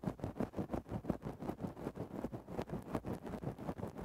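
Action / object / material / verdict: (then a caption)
scrape / faux-fur microphone windscreen scratched with a wooden stick / synthetic fur / none. A thin wooden stick makes rapid small scratches into a grey faux-fur microphone windscreen. Soft, muffled, low-toned rustling strokes repeat in a fairly steady rhythm, about 19 scratches in four seconds, with no bright edge.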